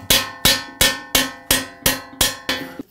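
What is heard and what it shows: A padded hammer planishes a solid silver champagne bucket in a steady, even series of strikes. Each blow gives a bright metallic ring with sustained high tones that decays quickly before the next hit. The strikes are well made: the metal sings rather than sounding hollow.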